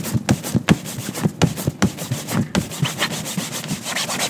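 A gloved hand holds a yellow cotton shine cloth taut and buffs the toe of a tan leather ankle boot resting in a shoe-shine stand, with a second boot hanging above, untouched. Rapid back-and-forth rubbing strokes make a run of soft, low swishing thumps with a bright, airy hiss on top, each stroke stopping short with almost no ring.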